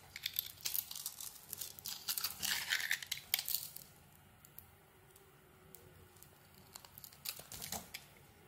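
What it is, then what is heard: Bar of soap carved with a knife. A utility knife blade scrapes and carves thin curls off a hand-sized solid white bar of soap with a black glittery outer layer, held in one hand with taped fingertips. Dense, bright, crackly scraping fills the first few seconds, gives way to near-quiet with faint scattered ticks, then returns briefly in a second short burst of scraping near the end.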